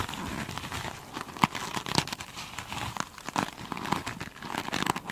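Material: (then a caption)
Foam. Long pointed chrome nails on both hands scratch the glitter-beaded top of a soft, solid foam sponge. The result is a dense, continuous crinkling and crackling texture, with sharp bright clicks standing out here and there.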